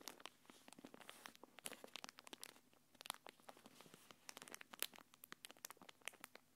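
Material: Plastic film.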